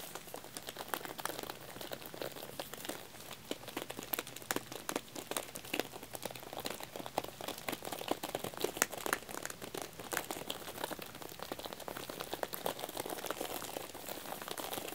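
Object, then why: Thin aluminum tealight cups wrapped in plastic film. Fingertips and nails tap and scratch the thin aluminum cup bottoms on the underside of a full, plastic-wrapped pack of tealights. Dense, fast clicks and bright crinkly scratching run steadily throughout, each tap short and dry with almost no ring.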